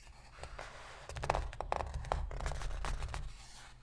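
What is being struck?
Empty cardboard box.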